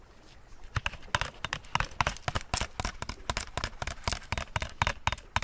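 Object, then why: Bottle. A bottle is tapped in a quick, uneven series of short, sharp clicks. Each tap has a brief hollow tone around 1 kHz and dies away almost at once against a faint background hiss.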